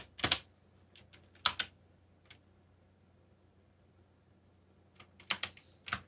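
Fingertips tap keys on a backlit mechanical computer keyboard with plastic keycaps. Bright, sharp clicks come in a few irregular bursts with long quiet gaps, and a faint low hum sits underneath. Each keystroke stops almost at once.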